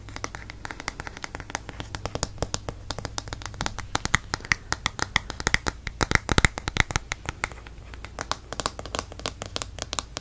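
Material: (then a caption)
Plastic. Fingernails tap and scratch the glossy back and ridged rubber-grip handle of a black plastic paddle hairbrush. Dense, quick, clicky taps and scratchy rubs follow one another for the whole clip, short and dry with bright edges. A low steady hum sits underneath.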